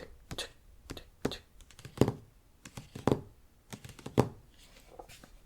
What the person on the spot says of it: It's like the sound of paper, then the sound of wood. It's like tick, tick, tick, tick.